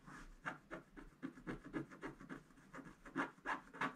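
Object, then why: Wooden stylus on wax-coated scratch-art paper. A wooden stick scratches fast strokes across a black-coated gold scratch-art paper page, with the brush unused. A rapid series of dry, rasping scrapes follows quickly one after another, each stroke short with almost no ring.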